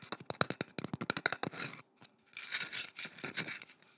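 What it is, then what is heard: Painted wooden carving tapped and scratched. Long nails tap and scratch a curved, solid wooden boomerang-shaped carving with a painted swirl design, held horizontally near the microphone. A quick run of about twenty sharp, dry taps with bright clicks is followed by a brief pause, then longer rasping scratches across the painted wood.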